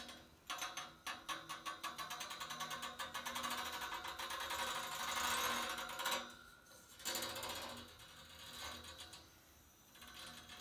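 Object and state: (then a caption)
Steel radiator fins. Fingertips and nails scratch and strum along the grille of thin metal fins on top of a large white painted steel panel radiator. A rapid, ratchet-like run of bright metallic ticks builds into a dense, rasping scrape around the middle. It then breaks off into short pauses and softer strums.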